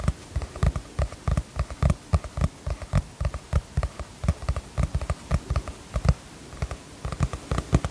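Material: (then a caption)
Cardboard. A teal cardboard hardcover notebook with a star-chart print is held upright in both hands while long fingernails tap and scratch its cover. About 32 short, dull, low thuds land in an irregular rhythm, each with a faint crisp click and no ring.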